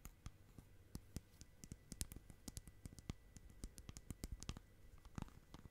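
Long nails tap and scratch the lid and rim of a small round clear plastic tub with a lid, full of bubbly slime. A quick, irregular run of short, dry, bright clicks sounds over faint scratching. Each click stops at once above a quiet low hum.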